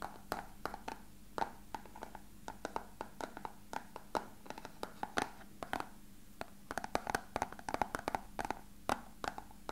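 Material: Plastic.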